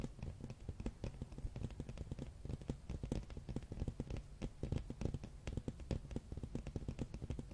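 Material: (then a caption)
Cardboard. A large, flat, solid hardcover art book with a glossy red dragon cover is held in hand and tapped and scratched with fingernails. The result is a rapid, steady stream of short, dull, low-pitched taps with almost no ring, plus faint scratchy texture between them.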